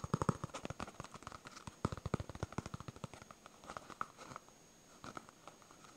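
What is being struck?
Polyurethane foam stress ball.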